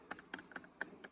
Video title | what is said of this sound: How to keep using an old Wireless (headset) microphone belt pack | When I tap the battery, you can hear the electronic noise of the power getting interrupted when I hit it